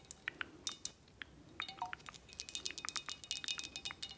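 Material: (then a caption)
Glass. Long acrylic nails tap and scratch the flat glass sides and the labels of a square glass 1800 Añejo tequila bottle, full of amber liquid and held in hand. Sparse, bright glassy clicks at first give way to a quicker, denser run of sharp taps, each dying away almost instantly. Soft scratching fills the gaps between the taps.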